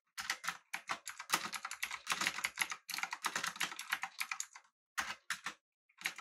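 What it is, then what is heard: Mechanical keyboard with round plastic keycaps. Both hands type with their fingertips on a full-size, backlit, typewriter-style mechanical keyboard with an aluminum body and round plastic keycaps. Quick bursts of bright, dry key clacks run together with brief pauses between them, and each click stops almost at once with no ring.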